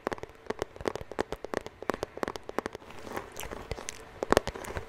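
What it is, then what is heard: Cardboard bandage box. A hollow white cardboard Band-Aid bandage box held close is rapidly tapped and scratched with fingertips and nails. Dry, sharp clicks with a hollow mid-pitched tone come in quick bursts, then give way to softer scratching and rustling before a few final louder taps.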